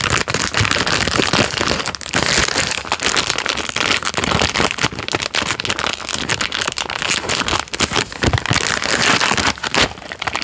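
A hand-sized Jammie Dodgers biscuit roll, full of biscuits in a crinkly plastic film wrapper, is held in the hand and crinkled and squeezed with fingertips and thumb close to the microphone. Dense, bright crackling and rustling runs continuously for about ten seconds, made of many quick, sharp crinkles with little low end.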